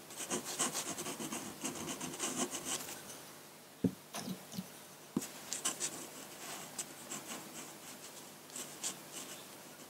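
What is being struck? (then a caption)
Paper sheet and metal pen nib. A metal dip pen nib scratches ink strokes onto a large flat sheet of white drawing paper, making bright, dry, rasping scrapes in quick bursts. Two sharp, low taps stand out in a quieter stretch midway, and then the scratchy strokes resume.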